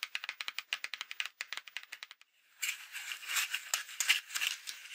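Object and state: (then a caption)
Paper greeting card scratched with nails. Long acrylic nails scratch a Halloween paper greeting card with a folded-paper pumpkin, on the cover and inside. Quick, separate, bright scratching strokes come first, then a brief pause. Denser, continuous rasping follows, with almost no low end.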